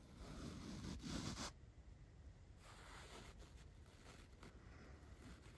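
A large paintbrush's bristles are pressed and swept across a dark foam microphone windscreen. A loud, broadband brushing rustle with a heavy low-end rumble dominates the first second and a half. It is followed by quieter, steady scratchy sweeps of the bristles over the foam.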